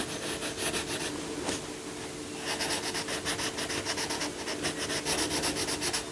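A yellow coloured pencil, held by the fingertips, shades the lion's head and leg on a paper colouring book page lying flat, in small rubbing strokes. Bright, dry scratching comes in a quick, uneven rhythm, lighter at first and then denser and louder from about halfway through. A faint steady low hum runs underneath.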